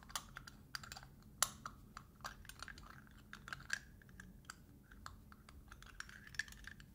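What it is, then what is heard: Metal lid on small glass jar. Fingertips and nails tap and scratch the metal screw lid of a small round glass jar held close up. The result is a quiet, irregular run of sharp, bright clicks and brief scrapes, each dying away almost instantly, with a light metallic ring around 1.3 kHz.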